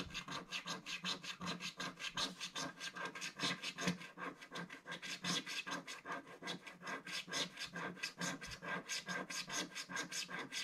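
A thin wooden stick scratches across a flat, black-coated scratch-art paper page near its bottom edge. It makes a steady run of quick, dry rasping strokes, about two to three per second, with bright, hissy texture and a faint low body. The rhythm is somewhat uneven.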